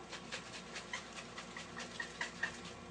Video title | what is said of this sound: Tutorial for the KRUPS La Glac | the way to tell that this is not ready to freeze anything is to shake it. And you can hear it sloshing around.